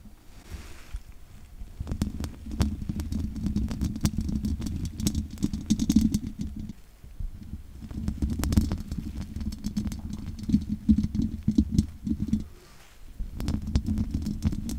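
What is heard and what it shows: Long nails on both hands scratch over the hollow metal mesh grille of a large condenser microphone with no windscreen. The result is a dense, rumbling low-pitched scraping full of sharp clicks and crackles, with brief pauses near 7 and 12.7 seconds.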